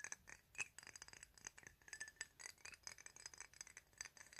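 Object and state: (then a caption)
Glass perfume bottle. Fingertips and nails tap and scratch the sides of a square, thick-walled clear glass perfume bottle with a paper label, hollow and partly filled with liquid. A quiet, rapid stream of bright clinks and light scratches is heard, each tap with a brief high glassy ping near 2.6 kHz that dies away almost at once.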